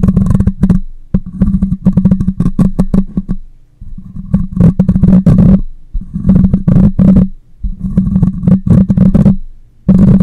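A hand holding a black condenser microphone by its side scratches its hollow metal mesh grille and body with short fingernails. The result is rapid, dense bursts of close scratching and tapping with a strong low hum around 160–200 Hz. The bursts come in clusters with brief pauses between them.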